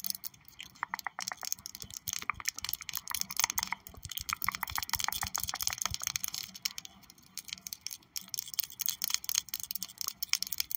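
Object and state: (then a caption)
Plastic pen tapped and scratched with nails. Long purple acrylic nails tap and scratch rapidly along the barrel of a slim, hollow pink and light-blue plastic pen with a bow and a charm on top, held upright in both hands. The result is a dense stream of crisp, bright clicks and scratchy ticks that die away instantly, with a brief quieter lull near the eight-second mark before the tapping picks up again.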